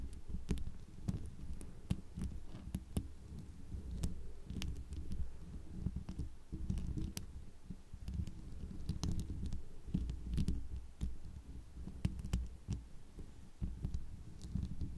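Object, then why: Plastic rhinestone microphone cover. Long dark polished nails on both hands hold, scratch and tap a hollow round microphone head covered in small faceted plastic rhinestones. A steady, muffled low scratching rumble runs throughout, broken by many short, bright clicking taps.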